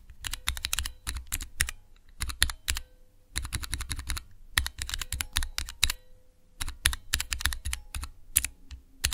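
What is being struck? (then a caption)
Plastic mechanical key switch tester with clear keycaps. A small clear plastic Cherry MX switch tester with transparent keycaps is pressed by the fingertips of both hands. Fast bursts of sharp, bright mechanical clicks with a low thock under each press come in quick runs separated by short pauses. Each click stops almost instantly.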